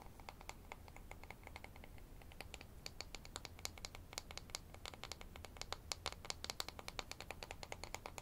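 Fingernails scratch along the surface of a thin, solid light-wood toy ruler with a printed scale, held in the hands. The result is a rapid, steady run of short, dry, bright ticks and scrapes that die away almost instantly, growing slightly louder in the second half. A faint low hum sits underneath.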